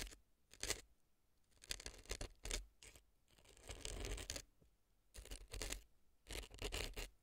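A brown earpick scratches crumbly dry floral foam packed inside the left ear of a silicone fake ear resting on a dry floral foam block. Short bursts of dry, crackly scraping come in quick strokes, bright and gritty with a soft low thump underneath, separated by brief quiet gaps.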